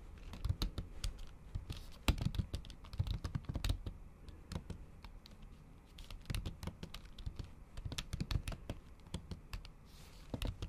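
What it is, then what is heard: Laptop keyboard with plastic cover. Fingertips and long acrylic nails tap on a MacBook keyboard covered by a thin, flat pink printed plastic or silicone cover, with the keys sitting over the hollow laptop body. The result is steady bursts of fast typing: soft, dull, low thuds mixed with short, sharp nail clicks. Brief quieter lulls come near the middle and toward the end.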